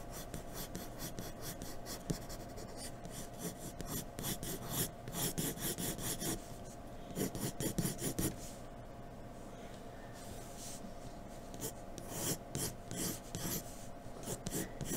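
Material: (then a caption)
Paper. A graphite pencil is drawn quickly across a white paper sheet, hatching in the hair, producing a dry rasping scratch in rapid, uneven bursts of strokes. A faint steady tone hums underneath throughout.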